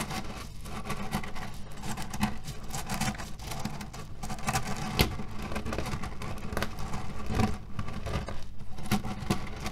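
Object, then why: Cotton pillow filled with cherry stones. Fingertips press into a cotton pillow filled with cherry stones while nails scratch across its fabric surface. The result is a steady, dense pattering crunch of shifting pits with a strong low rumble underneath and quick, dry clicks that flare brighter now and then.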